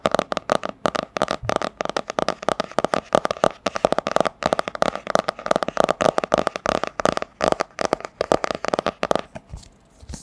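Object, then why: Cardboard hardcover book. A medium, solid hardcover book with a printed cardboard cover is held upright and tapped rapidly on its front cover with long nails. The taps are dry, hollow clicks with a mid-range tone and almost no ring, coming in quick, uneven bursts for about nine seconds before stopping.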